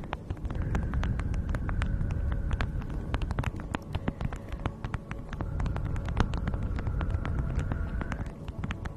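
A thin beeswax-coated fabric food wrap stretched over a fluffy mic windscreen is crinkled and scratched by long nails and fingertips. The result is a steady stream of quick, sharp crackles and ticks over a dense, muffled low rumble, with a faint thin whine drifting in and out.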